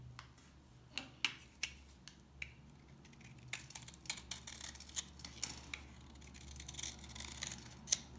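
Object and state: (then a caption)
Dry soap bar cut with a knife. A solid, dry mint green soap bar is held in the hand and cut with a utility knife, and shavings break off. Sharp, bright clicks and snaps come at first as separate cracks, then grow denser into crisp scraping and crumbling over a faint low hum. Each snap dies away almost instantly.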